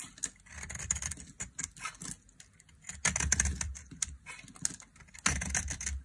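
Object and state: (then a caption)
Dry soap bar. A solid rectangular bar of dry white soap, held in the hand, is shaved with a flat metal blade, and curls of soap pile up on the table. Dry, bright, crisp scraping and crackling strokes come in uneven bursts, with a soft low rumble under the louder passes.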